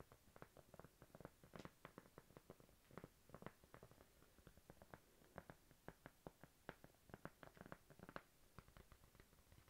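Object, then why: Thin cork coaster. Long pink nails tap and scratch a thin, flat, solid cork coaster, making over thirty quick, dry clicks with very short decay. Soft scratching fills the gaps under a quiet, low background.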